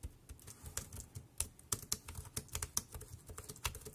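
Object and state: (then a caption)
Plastic wireless keyboard being typed on. One hand types rapidly with its fingertips on a dark grey, compact plastic Bluetooth keyboard with round keys, lying on black plastic sheeting. Quick, bright plastic clicks and taps come in an uneven stream, each dying away almost instantly over a soft low thump.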